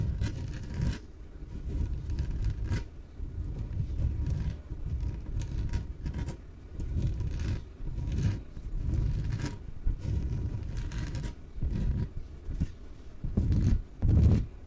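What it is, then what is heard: Inflatable PVC exercise ball being scratched. Long nails scratch the surface of a small, yellow, hollow, air-filled inflatable PVC exercise ball as it is held and turned. The result is a series of dull, low, rumbling scratch-and-rub strokes in uneven bursts, with a faint steady mid tone underneath and a louder, heavier rub near the end.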